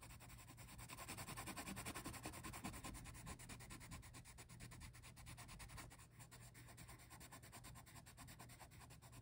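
A green wooden colored pencil is rubbed back and forth across a printed paper coloring book page, held flat, to shade a bush. The pencil lead makes a continuous, rapid scratchy rasp with broadband hiss and a low rumbling undertone. The sound is loudest in the first few seconds and then eases slightly.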